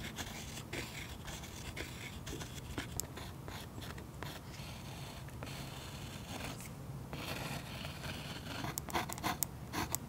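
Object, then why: Waxy oil pastel layer on a paper page. A fine pen tip scratches and stipples texture into a waxy oil pastel coating on a sketchbook page resting on a solid, flat surface, recorded close-up. Soft, continuous scratching with a low rumble runs throughout, broken by short dry taps. Sharper, brighter pecks cluster toward the end.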